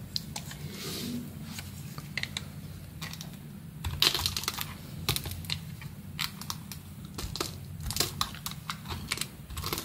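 A solid oval white bar of soap with an embossed logo is held in one hand and scraped and shaved along its surface with a metal box-cutter blade. Many short, crisp, bright scraping clicks come in quick irregular bursts over a steady low hum, with a few louder cuts standing out.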